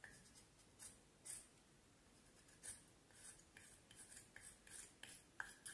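A small knife blade carves and scrapes the lower part of a solid, curved vine wood branch held upright, working in short strokes. Each stroke makes a brief, dry, bright scraping rasp with a slight high edge, scattered irregularly over a quiet background.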